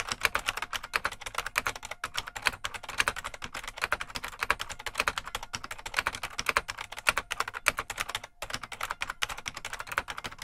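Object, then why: Plastic mechanical keyboard. Fingertips of both hands type continuously on a full-size beige plastic IBM Model M mechanical keyboard with a hollow case. The result is a steady, rapid stream of sharp, bright clacks with very short decay and almost no low end, with a brief gap near the 8-second mark.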